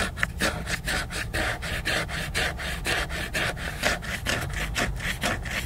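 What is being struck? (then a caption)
Laminated cardboard hardcover book. Fingernails scratch and rub the glossy cover of a large, solid, flat laminated cardboard hardcover book. The sound is a steady run of quick, dry rasping strokes, roughly two per second and somewhat uneven. Each stroke is bright and papery and dies away at once, with a soft low rumble underneath.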